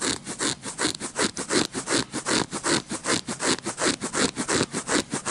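Short fingernails scratch and rub the patterned surface of a red-backed paper playing card deck held at the side. The result is a steady, rhythmic run of about two dozen dry, bright scraping strokes with a hissy, rustling texture and little low end.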